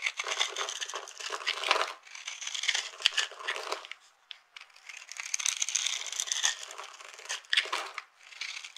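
A metal knife blade cuts and scrapes into the pre-scored surface of a hand-sized, solid rectangular bar of dry blue-and-white striped soap held in one hand, flaking off small crunchy cubes. Dense, bright crunching and crackling comes in bursts with brief lulls, with no low end and no ring after each crunch.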